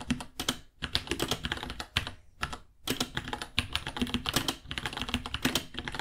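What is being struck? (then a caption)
Plastic mechanical keyboard. Both hands type with their fingertips on a small white 66-key mechanical keyboard with Gateron Brown switches, white plastic keycaps, a hollow case and pink underglow, resting on a white desk. Quick, bright plastic clacks come in rapid bursts, separated by brief pauses. Each tap is short and dry, with a slight low thock underneath.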